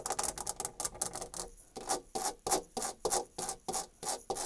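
Long dark red nails scratch a white painted molded panel door, raking across its embossed wood-grain rail and the edge of the raised panel molding. Quick, bright, raspy strokes come in a rapid flurry, pause briefly, then settle into slower, evenly spaced scrapes along the grooved texture.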